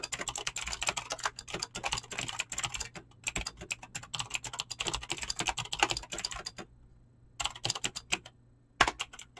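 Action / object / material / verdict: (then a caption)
tap / mechanical keyboard with clicky switches and PBT plastic keycaps / plastic / none. Fingertips fast-type on a mechanical keyboard with clicky green switches and PBT plastic keycaps, producing rapid bright clacks in dense bursts. The typing pauses briefly twice, near 3 seconds and from about 6.6 to 7.4 seconds, before the keystrokes resume, ending with a few sharper strikes.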